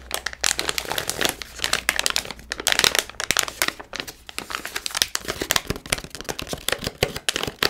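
Hands crinkle and scratch a palm-sized Milkybar foil-lined plastic snack pouch, front and back. The result is a dense, bright stream of crisp crinkles and sharp crackles that swell and ease, with very little low end.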